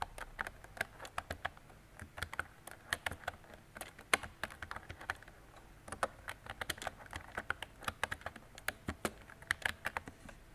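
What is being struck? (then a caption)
Plastic mechanical keyboard. Fingertips with long decorated nails type on a mint-green retro mechanical keyboard with round plastic keycaps and a hollow body. About 44 short, dry, bright clacks come in an irregular typing rhythm, each dying away almost instantly, with brief pauses between bursts.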